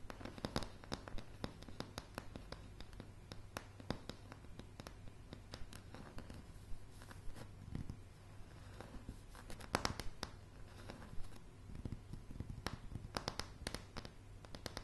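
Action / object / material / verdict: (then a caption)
tap / pine floorboards / pine wood / none. Long polished nails scratch and tap across a solid floor of light pine floorboards. Dense clicky taps and dry scraping strokes mix over a steady low hum, with sharp, short-lived transients that die away almost instantly.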